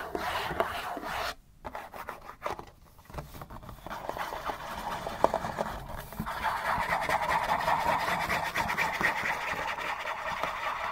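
A Kleenex facial tissue box, thin printed cardboard and hollow with tissues still inside, is held in the hands and scratched quickly with fingertips and nails. Fast, dry rasping scratches fill the mids, with brief gaps early on before settling into a steadier, denser scratching texture for the second half.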